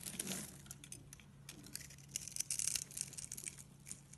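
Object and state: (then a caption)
Dry soap bar. A solid, palm-sized green bar of dry soap with an embossed brand name, held in one hand with long dark blue nails, is shaved and scraped with a small bladed cutting tool with an orange handle, and soap curls and crumbs fall onto a pile of green soap shavings below. The sound is a quiet, dry, crisp scraping and crackling made of dense, bright, high ticks, with a faint steady low hum underneath.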